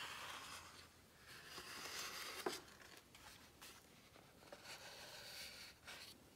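A flat hand and fingertips rub and lightly tap the smooth, glossy coated pages of a large hardcover book lying open on a spread showing a white jumpsuit. The result is soft, airy, bright swishing and faint crinkling in waves, broken by a few quiet, short taps, with one sharper tap near the middle.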